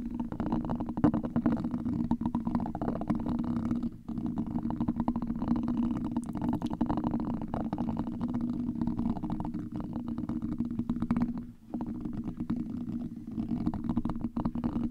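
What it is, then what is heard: Metal mesh microphone grille being scratched. A hollow black domed metal mesh microphone grille is scratched by two gold and copper metal tools, producing a continuous, dense rasping scrape with a steady low hum-like tone. The sound runs almost without pause, with brief dips near 4 and 11.5 seconds.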